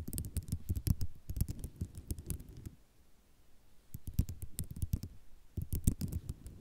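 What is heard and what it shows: Long nails tap and scratch across a flat sheet of small white ceramic mosaic tiles, making rapid clicky taps and scraping rattles with a dull low body. Dense bursts of tapping fill the first few seconds, pause into near silence for about a second, then resume just as busily to the end.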